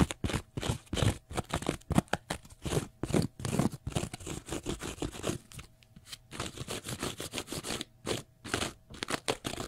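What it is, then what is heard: Cellulose sponge scratched. Fingernails scratch the face and edge of a small block of pale green porous cellulose sponge. Rapid bursts of dry, crunchy scraping follow one another with short pauses between them, weighted toward the low end with a bright fizzy top. A faint steady hum sits underneath.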